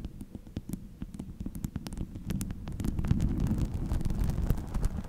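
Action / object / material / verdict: scrape / chainmail ball of small metal rings / metal / none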